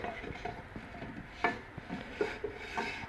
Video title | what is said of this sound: 1965 VW Bug Front brake replacement hack. | that scraping sound that sounds like metal to metal that's just the right amount of drag to start with